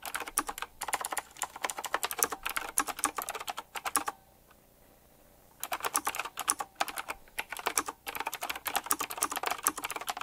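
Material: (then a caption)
Plastic, metal. Both hands type with their fingertips on the round plastic keycaps with metal rims of a retro typewriter-style mechanical keyboard. Rapid, bright clicking keystrokes come in dense bursts with short pauses. The typing stops for about a second and a half around the four-second mark, then resumes.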